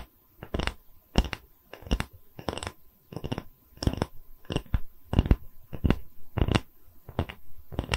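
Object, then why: Thin wooden tree-slice coaster with bark rim. A round, thin, solid wood tree-slice coaster with a bark rim is held in one hand while the nails of the other hand scratch and tap its cut face. The result is a string of short, dry, crunchy tapping and scratching bursts with a heavy low thump and very quick decay, separated by brief pauses. A faint steady tone sits underneath.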